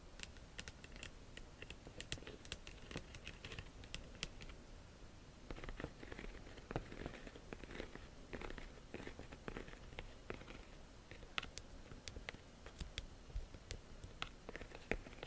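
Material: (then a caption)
Faux leather. Long nails tap and scratch the flap of a small, hollow, yellow embossed faux leather flap bag with a chain. The result is a quiet, steady run of crisp, bright clicks and dry scratchy rustles over a soft low rumble.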